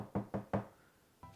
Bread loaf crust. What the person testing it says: Se você bater com o dedo em cima dele aqui e ouvir aquele som de oco